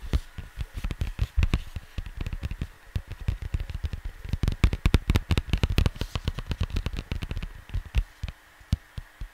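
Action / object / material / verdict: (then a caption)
tap / cardboard LP jacket / cardboard / none. Fingertips tap and scratch near the top of a cardboard vinyl LP jacket resting on a desk. Rapid, irregular taps come through as dull, low thuds with very short decay, mixed with faint dry scratching.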